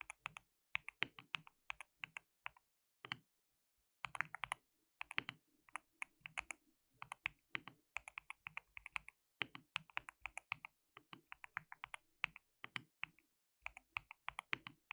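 Fingertips of both hands type on a white plastic mechanical keyboard with translucent keycaps. Quick, bright, clicky keystrokes come in bursts with short pauses between, each tap dry and ending almost at once.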